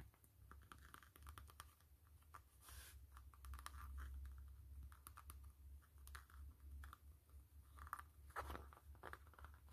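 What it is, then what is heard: Faux leather glasses case tapped and scratched with fingernails. Long fingernails tap and scratch the front of a hollow black saffiano-textured faux-leather glasses case with a blue band, which is lifted slightly by hand. Quiet, crisp clicks and brief scratchy rasps come in quick irregular bursts over a steady low hum.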